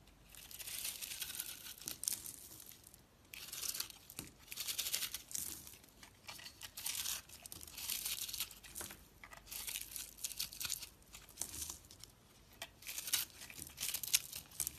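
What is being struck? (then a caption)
Bar of soap cut with a blade. A utility knife blade cuts and scrapes flaky layers off a dry, crumbly, hand-sized purple and pink striped soap bar held in a hand with long nails. Bright, crisp crackling and crumbling scrapes come in repeated bursts, each a few seconds long, separated by short quiet gaps.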